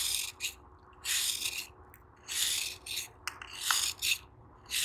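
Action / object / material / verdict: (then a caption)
scrape / sand-cement block scraped with a metal knife / sand-cement / none. A metal knife repeatedly scrapes and shaves a hand-held, elongated piece of soft, solid, dry sand-cement block, and the crumbling sand pours into a sand-filled tub. Bright, hissy, rasping strokes come in irregular bursts with brief crisp ticks, separated by near-silent pauses.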